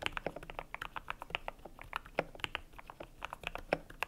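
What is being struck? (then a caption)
Mechanical keyboard with PBT plastic keycaps. Fingertips type quickly on a cream compact mechanical keyboard with PBT plastic keycaps. A steady run of short, crisp clacks follows, each with a bright top and a little low thock on some of the heavier strokes. Every stroke stops almost at once.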